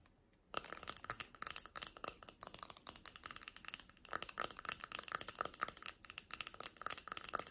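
A round, flat, palm-sized solid purple epoxy resin coaster with glitter is held in both hands and tapped and scratched with long painted fingernails. After a brief near-silence, a steady run of quick, sharp clicks and dry scratching begins, bright and crisp with a faint ringing tone around 1.3 kHz and almost no low end. Each tap dies away at once.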